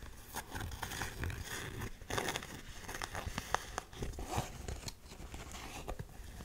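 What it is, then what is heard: Canvas sneaker tapped and scratched. Long nails tap and scratch an empty black canvas Converse high-top sneaker, working over both the canvas upper and the edge of the rubber sole. Soft, dry scratching and crinkly rustling run throughout, punctuated by short, sharp taps that stop quickly with no ring.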